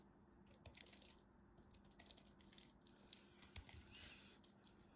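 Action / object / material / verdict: scrape / bar soap / soap / none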